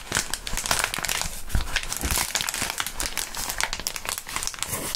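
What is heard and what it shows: Clear plastic bubble wrap is crumpled and squeezed by gloved fingertips in front of the microphones. The result is a dense, continuous crinkling with many sharp, bright crackles and a few low thumps from handling.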